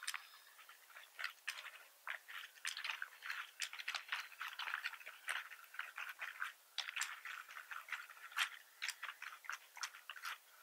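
Fingertips type steadily on a black plastic computer keyboard with a hollow body, both hands resting on the keys. The keystrokes are quick, dry, bright clicks and clacks with no low end, falling into irregular bursts across the clip.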